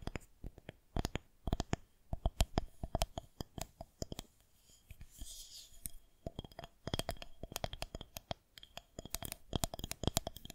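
Long nails tap and scratch along a solid white plastic rolling pin held horizontally. Quick, dry clicking taps with a dull low knock come in irregular bursts, broken around the middle by a softer, brighter stretch of scratching before the tapping resumes.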